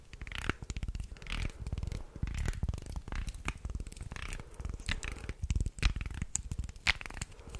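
Fingers bend the flexible body of a wooden segmented, articulated shark toy while nails scratch along its wooden segments. The result is a dense run of rapid, dry clicks and rattling ticks with a heavy low-end thump. Bright, scratchy bursts rise above it throughout.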